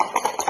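A child shakes a grey cardboard Zaitsev learning cube marked with the letter D, its filler rattling inside in four quick bursts. Each burst is a bright, ringing jingle centered around 950 Hz that dies away almost immediately. The cube sounds ringing, showing that D is a voiced sound.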